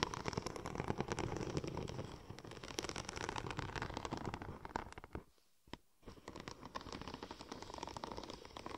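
Long nails scratch and tap across the raised tread of a curved silver checker-plate-pattern vinyl wrap sheet, making a dense run of dry crackling scratches and quick clicks. The sound drops to near silence for a moment just after five seconds, with one sharp tap in the gap, then the scratching resumes.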